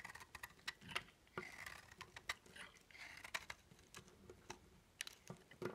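A small knife scrapes and carves crunchy, chalky flakes off a hand-sized oval bar of dry, solid soap with a cream interior and dark outer coating, held in one hand over a wooden table. It makes a quiet, rapid series of dry, crisp scratches and clicks, mostly bright with little low end, and each stops almost instantly.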